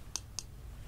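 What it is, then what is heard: Eyeglasses. Two light taps on a pair of eyeglasses being worn on the face give two short, sharp clicks with a bright, high tone. The clicks die away almost instantly over a quiet low hum.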